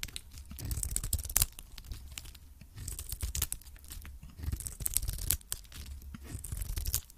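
A metal blade scrapes and cuts a hand-held cream cube of varnished solid soap into shavings. Each stroke makes a dry, tearing crunch with bright, hissy scraping over a low thudding rumble, coming in repeated bursts.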